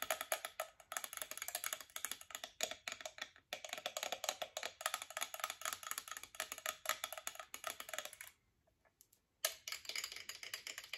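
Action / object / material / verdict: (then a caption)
tap / metal alarm clock with two bells / metal / none. Long acrylic nails tap rapidly on a hand-sized chrome metal alarm clock with two bells and a glass face, striking the bells, casing and face. The taps are dense, bright and clicky with very short ring, and mostly high in tone. They pause briefly near the 8 to 9 second mark before resuming.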